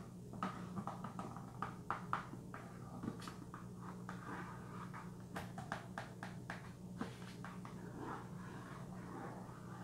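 Fingernails tap and scratch the back of a small, hollow Vitron-C iron supplement cardboard box. Quiet, dry, short taps come in irregular bursts with soft scratching between them, all over a steady low hum.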